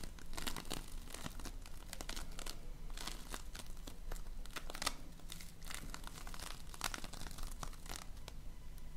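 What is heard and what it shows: A fist-sized, solid lump of multicolored polystyrene foam bead slime (floam) is kneaded and pressed with fingers and painted nails. It makes a dense run of bright, crunchy crackles and sticky tearing pops over a steady low rumble throughout.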